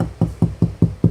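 Knuckles knock five times on a drywall interior wall while an HVAC mounting plate is being installed, each knock a dull, hollow, low thud that dies away quickly. The sound shows the section is hollow between the studs.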